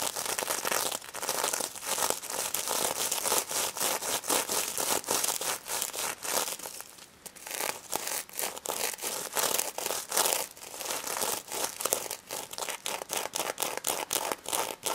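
Long red acrylic nails scratch across a small, soft, filled stuffed pig toy covered in pink plastic reversible sequins on fabric. The result is a dense run of rapid, bright, crinkly scrapes and clicks with almost no low end, easing briefly around the middle before picking up again.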